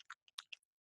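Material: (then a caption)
Plastic. A high-flow acrylic paint marker is shaken, and the two very small marbles inside that mix the paint rattle against the barrel in quick, dry, bright ticks with no ring. The marbles are moving freely, not stuck to the side or the top, as they should be.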